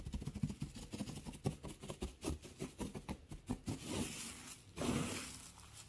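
Fingertips rustle and scratch through a pile of curly pale wood shavings. A quick run of short, dry crackling bursts gives way to longer, continuous scratchy rustles, with the sound sitting mostly low.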